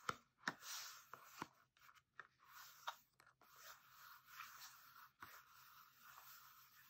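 A small red and yellow printed cardboard soap box, closed with a bar of soap inside, is held in both hands, turned over, and scratched and tapped with fingertips and nails. Quiet dry scratching and rustling is broken by sharp papery taps, with six clear hits standing out among the softer friction.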